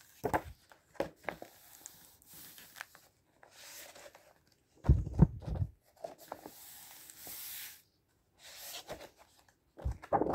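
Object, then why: Book with glossy paper pages. A flat hand and fingertips rub across the glossy paper pages of a large open book lying on a dark table, with pages turned and the spine rubbed. Soft, airy swishes and dry papery rustles come in irregular bursts, with louder, fuller crinkling handling near the middle and again at the end. Quiet gaps sit between the strokes.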